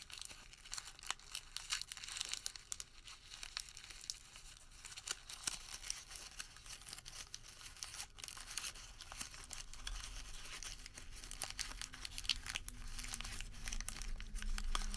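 A printed white thermal paper receipt is crumpled and rolled between the fingertips, making a dense, bright crinkling with quick crackling snaps throughout. A steady low rumble sits underneath, and the crinkling grows slightly louder toward the end.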